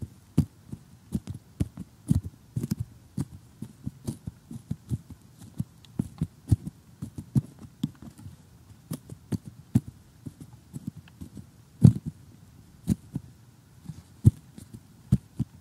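Short glittery fingernails tap rapidly on a glossy cardboard jigsaw puzzle lying flat, making a quick, irregular run of soft, dull, low taps. Each tap has a faint, bright click on top and dies away almost at once, with near silence between taps.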